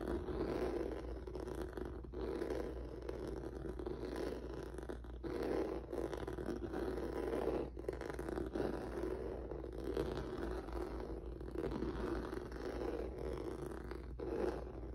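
Fingertips and nails scratch back and forth over a flat black rubber or vinyl mat with a noodle-textured surface. The result is a steady, dense scraping rustle centered in the low-mid range, with brief pauses between strokes and a constant low hum underneath.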